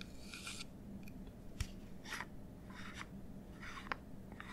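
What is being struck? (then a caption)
Plastic bottle. A medium white, translucent plastic nail polish remover bottle with a black cap, hollow and partly filled with liquid, is held in both hands, tapped and scratched with painted fingernails, and rotated. Short bursts of bright, raspy scratching alternate with a few sharp, dry taps that die away at once. A steady low hum runs underneath throughout.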